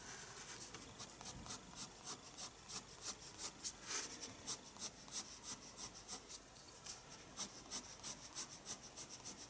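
A pencil scratches lines on the page of a spiral-bound paper sketchbook while drawing an eye. A quiet, steady run of short, bright, hissy strokes repeats at a quick, uneven pace. The strokes are mostly high in pitch, with almost no low end.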